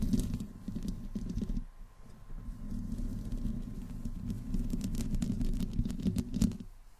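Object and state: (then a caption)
Metal mesh microphone grille scratched. Long nails on both hands slowly scratch the metal mesh grille of a black condenser microphone with no windscreen. The sound is a dense, low, rumbling scrape with scattered bright ticks, pausing briefly near the two-second mark before resuming and fading out at the end.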